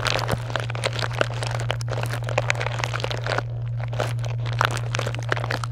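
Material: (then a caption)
Foil, plastic. Long nails scratch across and press into a box full of small chocolate bars in foil and plastic wrappers, producing dense, continuous crinkling and crunching with many sharp, bright crackles. A steady low hum runs underneath throughout.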